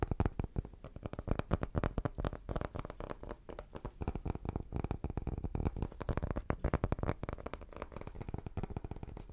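A palm-sized round, solid cross-cut wooden tree slice with a bark rim is tapped and scratched with fingertips and nails. Rapid, dry, dull taps mix with scratchy brushing in a steady stream for the whole clip. Each sound is short and low-heavy, with almost no ring.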